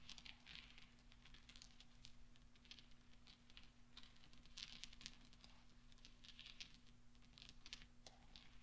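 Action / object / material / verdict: scrape / small steel balls on a soft cloth / steel / none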